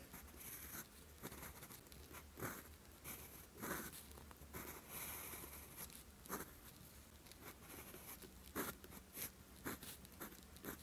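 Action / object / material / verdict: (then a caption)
scrape / lined paper sheet with steel pen nib / paper / none. A steel fountain pen nib is drawn across a flat sheet of lined writing paper, writing characters in green ink. Soft scratchy strokes come in short bursts with brief pauses between them, over a faint steady low hum.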